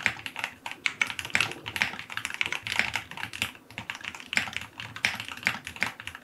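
A white full-aluminum QK75 75% mechanical keyboard with white and dark green plastic keycaps, a brass knob, an FR4 plate and lubed linear switches sits as a solid case on a desk and is typed on with fingertips. A continuous run of short, crisp, bright key clacks with a thocky low body follows in quick, uneven rhythm, each press dying away almost instantly.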